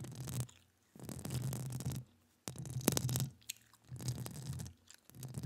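Long acrylic nails scratch and tap the hollow metal mesh grille of a studio microphone while the other hand is gloved. Five close, raspy bursts of scratching carry a heavy low rumble with bright crackling on top, separated by near-silent pauses.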